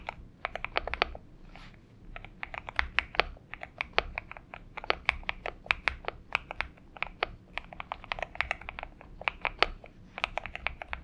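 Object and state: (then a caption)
Mechanical keyboard with PBT plastic keycaps. Steady typing on a compact 70% Xinmeng M71 mechanical keyboard with an aluminium case, lubed switches, a tape mod and purple gradient PBT plastic keycaps, resting on a desk mat, as both hands tap the keys rapidly with the fingertips. The result is a dense run of short, crisp, bright clacks with almost no ring, broken by brief pauses and over a faint low hum.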